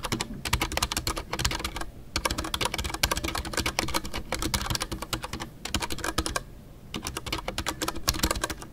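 Fingertips type continuously on a full-size Ducky One 2 mechanical keyboard with a white case, MX Brown switches, and custom artisanal PBT plastic keycaps. A dense stream of short, crisp clicks with a bright top end and a low thock underneath runs throughout, with brief pauses near 2 and 5.6 seconds and a longer lull around 6.5 seconds.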